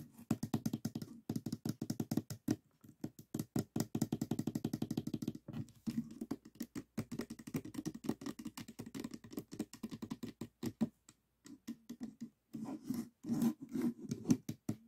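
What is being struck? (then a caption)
Plastic puzzle cube. Fingertips tap rapidly on the top face of a small stickerless plastic 3x3 Rubik's cube with a hollow mechanism, resting on a table, occasionally turning a layer. The quick, dry, hollow taps have a low-mid tone around 266 Hz and come in dense bursts with a few brief pauses. Each tap dies away almost at once.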